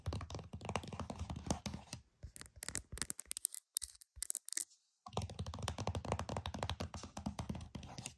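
Multiple fingernails tap quickly on the back of a flat, hollow plastic PS5 game case, producing dense, dry, hollow clicks with a strong low thump. The tapping is rapid for the first two seconds, thins into scattered taps, pauses briefly, then resumes at full speed until the end.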